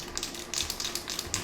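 A metal spray paint can with a ball bearing inside is shaken before spraying a base layer, producing ten quick, bright metallic rattles with almost no low end. The clear rattle means the ball is moving freely inside the can.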